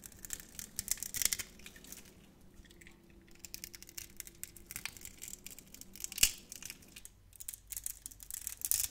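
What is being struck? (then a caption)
Bar of soap cut with a blade. A utility knife blade scrapes crunchy cubes off a solid, hand-sized, grid-scored orange translucent soap bar. Dense, bright, crisp crackling and scraping runs throughout, quieter for a stretch in the middle, with one sharp louder snap near the end before the crunching picks up again.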